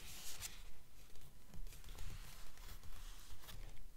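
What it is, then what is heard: Paperback book pages tapped and scratched with nails. Long nails tap and scratch across the printed paper pages of an open paperback book lying on a table. The result is a quiet, fairly steady run of soft, dull taps with low thumps, mixed with dry, bright scratching rasps on the paper.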